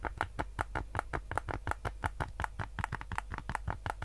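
A white PS5 DualSense controller with a hollow hard plastic shell is held in both hands while fingertips tap and click its buttons. It produces a rapid, uneven stream of short, dry plastic clicks with a hollow mid-range tone and no ring. A steady low hum runs underneath.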